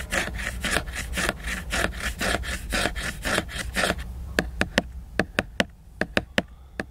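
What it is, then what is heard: Glossy laminated book cover being scratched. Fingernails scratch the glossy laminated cover of a large picture book, making a steady run of rough, bright, rasping strokes for about four seconds. These are followed by ten sharp, separate clicks on the cover, each dying away almost instantly.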